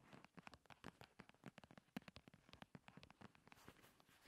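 Long red nails tap and scratch rapidly on top of a slim paperboard primer box lying on a table. The result is a quiet, hollow, dry clatter of short, sharp taps with no ring, mixed with soft scratching that brightens toward the end.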